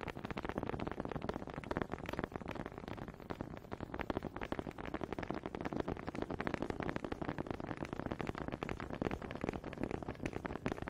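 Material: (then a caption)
Wood. Two small solid wooden honey dippers with grooved heads, held in both hands with long red nails, are knocked and rubbed together close to a microphone. The result is a dense, continuous stream of quick, dry wooden clicks and scraping rattles, mostly in the low-mid range, with very short decay and an uneven rhythm.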